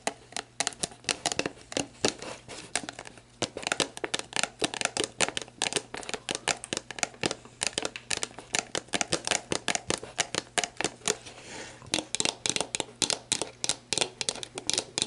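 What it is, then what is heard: Empty plastic bottle. Long black nails scratch and tap the label and clear plastic of an empty, hollow plastic sports drink bottle with an orange cap, lying on its side. The result is a quick, steady run of dozens of sharp, bright crinkling ticks and scrapes that die away almost instantly, over a faint low hum.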